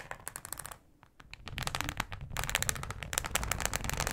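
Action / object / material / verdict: scrape / thin plastic cutting board / plastic / none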